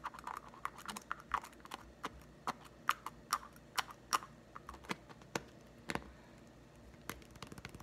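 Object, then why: Small plastic putty egg. Fingertips tap rapidly on a small, green, hollow plastic putty egg whose two halves have been joined shut. The taps come as quick, dry, hollow clicks in an irregular rhythm, with a bright midrange tone and almost no ring after each one.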